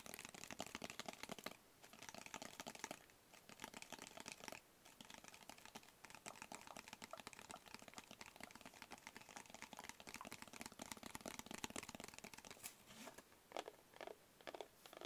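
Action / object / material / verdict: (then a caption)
tap / small rigid cardboard box / cardboard / none. A small, rigid, hollow black cardboard gift box with a barcode sticker is held up in both hands and tapped quickly with long fingernails and fingertips. The result is a steady stream of rapid, dry, bright clicks and hollow taps that stop instantly with no ring, with a few brief pauses in between.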